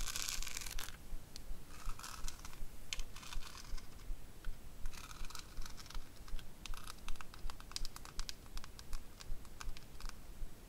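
Long acrylic nails tap rapidly, in a typing-like pattern, on the face of a small square makeup compact covered in pink rhinestones with a gold metal rim, held in the hands. The result is quick, bright, clicky ticks and short scratchy bursts over a steady low rumble.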